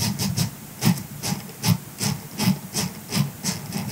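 A grey silicone scrubber sponge lies on a fur rug while the fingertips of both hands scratch its bristles. About nine rhythmic bursts of bright, hissy scratching come over a soft low rumble.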